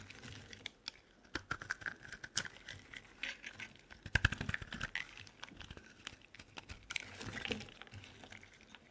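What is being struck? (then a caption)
Solid bar of soap shaved with a knife blade. A solid lilac bar soap held in the hand is shaved with a utility knife blade, giving a quiet run of short, dry scraping clicks and crisp bright scratches. The brief cuts come in quick irregular bursts with a low rumble underneath and almost no ring after each stroke.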